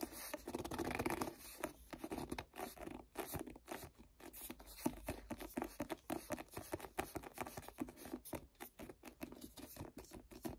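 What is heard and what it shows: Fingertips grip and rub the cover of a paperback book held upright. The result is a quiet, dense stream of short scratchy, papery rubbing bursts with a soft low-mid body, fluttering continuously for the whole clip.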